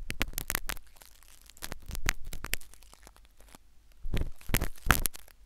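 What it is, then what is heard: Needle scratching inside a silicone ear. A metal syringe needle scratches inside the ear canal of a solid, white soft silicone ear replica on a binaural microphone. Sharp, crackling scrapes and clicks come in irregular bursts, with louder clusters at the start, around two seconds, and near the end over a low background rumble.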